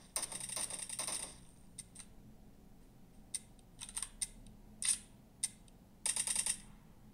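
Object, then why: Glass smartphone touchscreen. An iPhone 13 Mini is held sideways in gloved hands while fast thumb taps strike its glass touchscreen during gaming. A dense flurry of quick, bright, clicky taps opens the clip, followed by scattered single taps and small clusters, and another rapid burst near the end. Each tap is short and dry over a faint low background hum.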